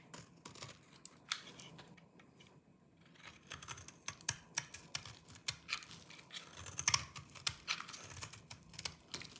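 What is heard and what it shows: A small knife with a yellow-tan blade shaves and scrapes the surface of a hand-sized solid bar of dry green soap held in one hand, with crumbly flakes falling off. It makes a quiet series of dry, crisp, bright crunching scrapes and clicks, with a brief lull near the start before the shaving picks up again.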